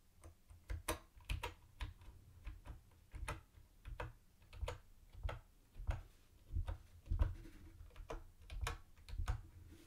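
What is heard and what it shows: Fingertips type on a mint-green plastic typewriter-style keyboard with round white plastic keycaps and a hollow body. The result is a quiet, unevenly spaced run of short, dry clacks with a hollow low thump under each key press, a crisp bright tick on top, and almost no ring.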